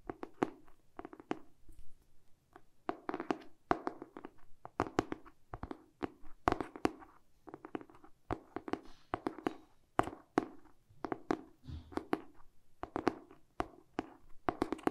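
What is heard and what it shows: Short pink-painted fingernails tap and scratch the glossy cardboard back cover of the same hardcover book, held close. Quick, dry, hollow taps come in rapid clusters with soft scratching between them. Each tap is mid-pitched and stops almost instantly, and the overall level stays quiet.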